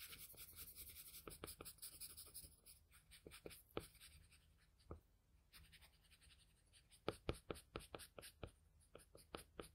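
A wooden graphite pencil, held in the fingers, rubs and scratches short shading strokes across a flat sheet of drawing paper carrying a pencil portrait. The result is a quiet, close series of dry, papery scrapes and brief bright scratches, some louder strokes standing out near the end, over a faint, steady low hum.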